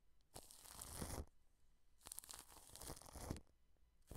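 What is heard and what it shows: Wide paintbrush bristles brush across clear plastic cling film stretched over a microphone head. Three rough, crinkly brushing passes are heard, each a dense wash of crackle from deep rumble up to bright hiss, with the last pass cut off at the end. Quiet gaps separate the passes.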